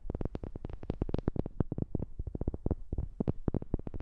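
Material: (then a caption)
Wood. A wooden object is tapped with a quick, steady run of light, close-up taps. Each tap is short and dull with a low thump, a brief bright edge, and almost no ring.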